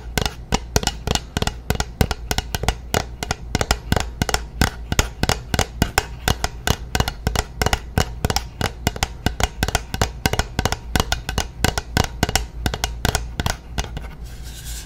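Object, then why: Plastic bottle holding liquid. A medium translucent plastic bottle of nail polish remover holding liquid is tapped and scratched along its side with long natural nails. The clip is a rapid, steady run of short, sharp clicks with a bright edge over a low, hollow body, each dying away almost instantly. The taps fade to a softer scratching hiss at the end.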